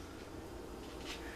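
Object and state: Nothing is struck.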